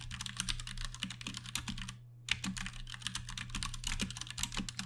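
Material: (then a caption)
Plastic. Fast typing with the fingertips of both hands on a compact 60% Ducky One 2 Mini mechanical keyboard with plastic keycaps and Cherry MX Brown switches. Rapid, bright, short clacks run over a steady low hum. The typing pauses briefly near the middle, then picks up again at the same quick pace.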